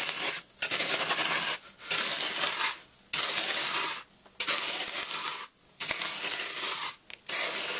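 A metal fork is dragged across the white-powder-dusted top of a brick-sized, rectangular block of solid, porous phenolic floral foam while one hand holds it steady, scratching grooves into the surface. About seven long, dry strokes of bright, hissy, crackling scraping follow, separated by short pauses.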